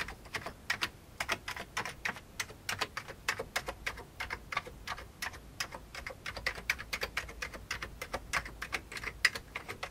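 One hand types with its fingertips on an old beige plastic computer keyboard. The result is a steady, rapid stream of short, bright key clicks with very little low end.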